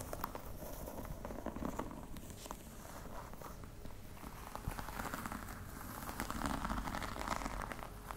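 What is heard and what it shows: Long red nails tap and scratch the top of a flat, hollow black box covered in embossed faux-crocodile leather. Quick, irregular soft taps blend with crackly, rustling scratches, with a dull hollow body low in the sound. The taps die away almost at once, and the quiet texture carries on steadily for about eight seconds.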